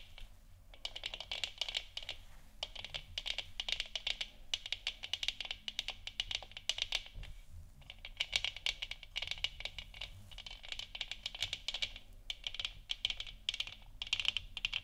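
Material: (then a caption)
Plastic. Long nails tap rapidly on the sides of a large, hollow, 3D-printed plastic moon lamp sphere, lit orange, resting on a wooden stand. The clicks are dense, bright and dry with almost no ring, arriving in bursts with brief pauses.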